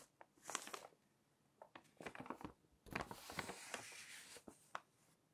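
Fingers smooth the pages of an open glossy paper magazine, then lift and flip them. Soft, bright crinkling and rustling bursts come and go over quiet gaps, with a longer papery swish as a page turns over.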